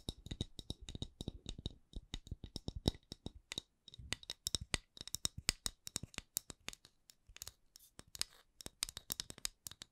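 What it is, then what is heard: Wooden candle lid. The wooden lid of a candle is tapped and scratched with steady, closely spaced strokes, some in quick bursts and a few brief pauses. Each touch is a short, dry click with no ring, with a soft low thud beneath a crisp, bright scratchy top.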